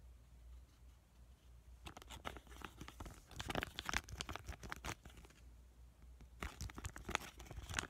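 Fingertips tap and squish a small, flat avocado sheet-mask sachet of laminated plastic and foil, filled with a soaked mask and held up close. Quiet, dense bursts of bright crinkling and crackling run from about 2 to 5.5 seconds and again from about 6.5 seconds to the end. A steady low hum sits underneath throughout.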